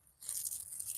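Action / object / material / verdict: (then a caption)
scrape / raspberry leaves / leaves / dry. Dry, crispy leaves on a struggling raspberry bush are crunched by hand, their foliage dried out, probably from heat of 110–111 degrees. After a brief near-silence, a quiet, bright, brittle crackling starts and continues to the end, almost entirely high-pitched with little low end.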